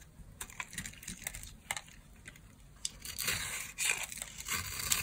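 A solid yellow bar of dry soap, held in a hand with long nails, is shaved with a small craft blade. Quick, crisp scraping and cutting clicks start out sparse, then thicken into louder, continuous shaving rasps, all bright and high with little low end.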